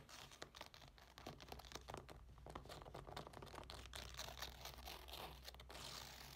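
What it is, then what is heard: Fabric clutch bag. A medium black textile clutch bag with a flap and a small metal plate stands on a wooden table and is scratched and tapped with long nails on its fabric surface. Quick, dense taps and rough scratching strokes run throughout, with a crinkly, papery texture over a steady low hum.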